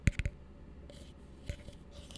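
Fingertips tap an empty, hollow blue plastic tumbler held upside down, making five short, dull, low-pitched taps with a faint bright click on top. Three come in quick succession, then two softer ones follow after a pause, each dying away almost instantly amid faint rustling.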